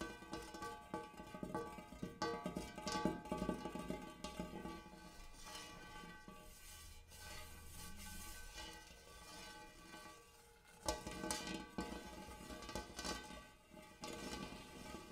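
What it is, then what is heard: Hammered metal bowl. Fingertips and nails from both hands tap and scratch the dimpled interior of a large, shallow, empty gold hammered metal bowl. Bright metallic taps and scraping strokes sit over steady ringing tones centered near 324 Hz. A quieter stretch of softer scratching comes before a sharper burst of taps near the end.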